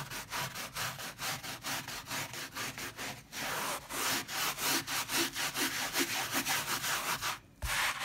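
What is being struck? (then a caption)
Wet fabric pile rug scrubbed with a plastic bristle brush. A white plastic bristle dish brush, held in one hand, scrubs back and forth across a wet, soap-foamed, leopard-print fabric pile rug the size of a bath mat. Quick, rhythmic, bright bristly swishes pulse in a steady chain, some strokes blurring into longer rasps. There is a brief pause near the end before the scrubbing resumes.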